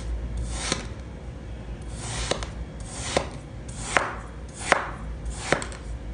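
A purple knife slices repeatedly through a large, solid, green heart-shaped block of packed kinetic sand resting on a wooden board. Each pass is a soft, gritty scraping hiss that swells and ends in a sharp, dry tick as the blade reaches the board, with six distinct cuts over a low steady background hum.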